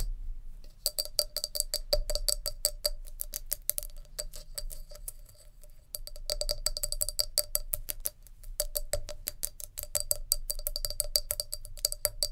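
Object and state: Glass jar.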